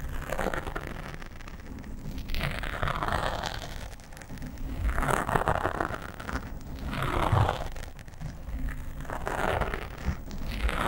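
Fingernails scratch quickly along the sides of a black foam windscreen on a microphone, using both hands. A dense, continuous scratchy rustle with a heavy low rumble swells and fades in waves, with brighter bursts of crackle at each surge.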